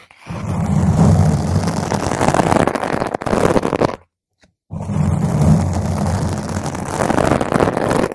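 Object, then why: Foam microphone windscreen. Long nails scratch a round purple foam microphone windscreen from the top and the sides, producing a dense, rumbling scrape heavy in the low end. It runs in two continuous stretches separated by a brief silence near the middle.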